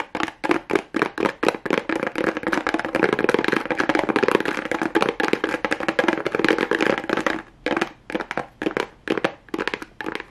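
Fingernails rapidly tap on a pink plastic rhinestone strip attached to a small hollow cardboard box held close up. The result is fast, dry, clicky taps with a hollow midrange knock and almost no low end. Spaced taps build into a dense, continuous flurry, then a brief pause leads to evenly spaced taps again.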